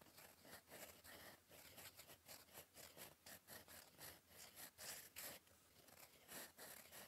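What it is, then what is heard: Pen nib scratching on paper. A gold metal fountain pen nib, held in the fingers, scratches across a flat sheet of cream lined paper on a desk while writing cursive. It makes a quiet, steady run of bright, dry scratching strokes with short pauses between them, and almost no low end.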